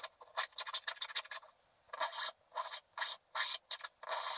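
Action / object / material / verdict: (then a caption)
scrape / black-coated scratch art paper card scraped with a wooden stylus / coated paper / none. A wooden stylus scrapes larger areas of a flat, black-coated scratch art paper card, flaking off bits of the black coating. A run of quick, dry, scratchy strokes gives way after a short pause to longer, bright rasping scrapes, with no low-end body.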